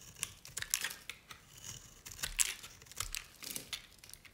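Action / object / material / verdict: scrape / bar soap shaved with a blade / soap / none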